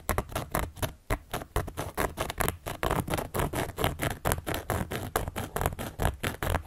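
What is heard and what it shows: A carving tool, held upright by long yellow and black nails, scratches and traces across the surface of a large, round, solid cork board. The result is a rapid, uneven series of short, dry scratching strokes with a low thumping undertone and a little high hiss, each dying away almost at once.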